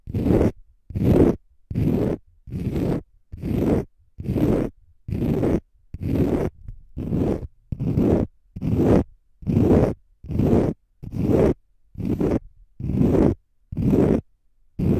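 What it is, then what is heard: Konjac facial sponge scratched. A palm-sized, pale green konjac fiber facial sponge, solid and porous, is held in front of the mic and scratched with fingernails. About seventeen regular scratching bursts, roughly one per second, give a rough, close, muffled scrape that is heavy in the low-mids with little bright content. Each burst stops cleanly into silence before the next.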